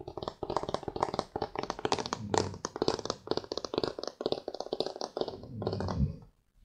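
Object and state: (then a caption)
Aluminum tablet back. Fingertips and nails tap and scratch the flat aluminum back of a thin iPad tablet held in both hands. A rapid run of short, dry clicks and scratches carries a bright edge and dies out almost instantly. Near the end it turns into a smoother, rising scrape before stopping in silence.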